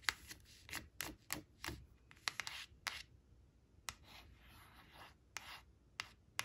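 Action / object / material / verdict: scrape / thin coated paper card on cloth / coated paper / none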